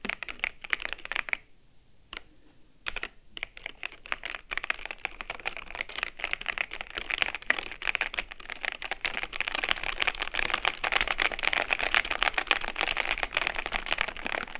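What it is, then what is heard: Plastic mechanical keyboard. Long-nailed fingers press and type on the keys of a white and grey plastic mechanical keyboard. A few bright, clicky taps come first, then a brief near-silent pause, then a dense, steady run of sharp key clacks that grows slightly louder toward the end.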